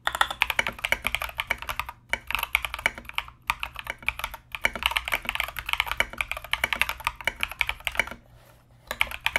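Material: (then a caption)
Plastic. A compact mechanical keyboard with Mozano EVE switches and plastic Knight King SA keycaps is typed on continuously with the fingertips of both hands. The result is a rapid stream of short, bright clacks with almost no ring, broken by brief pauses near 2, 3.5, 4.5 and 8.5 seconds.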